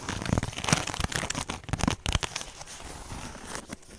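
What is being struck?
Woven straw handbag.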